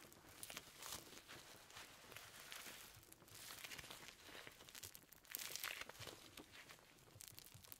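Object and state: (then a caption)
Perforated leather gloves. Red perforated leather gloves worn on both hands are rubbed, pulled and clenched together, producing soft, bright crinkling and rubbing leather sounds with little low end. The rustle comes in quick, dense bursts of creaks and crackles, swelling louder around the fifth and sixth seconds before settling back to a quieter crinkle.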